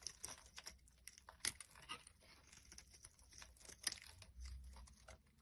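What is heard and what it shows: A metal blade carves and shaves curls off the top of a solid oval bar of cream-white soap with an embossed logo, held in the palm. The result is a quiet series of crisp, bright scraping and crinkling strokes with sharp peaks and almost no ring, plus a soft low rumble near the end.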